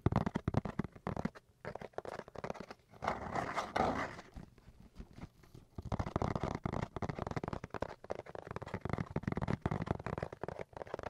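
A cardboard box is tapped and scratched. Quick, dull, low-heavy taps run in rapid bursts, with a denser, rougher scratching stretch partway through before the tapping picks back up.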